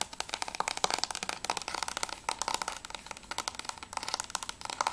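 Long nails tap quickly on the top edge and front cover of a closed, hollow plastic PS3 game case for Journey. About two dozen short, bright, clicky taps with a hollow ring around 770 Hz follow in a rapid, uneven rhythm. Each tap dies away almost at once, with almost no low end.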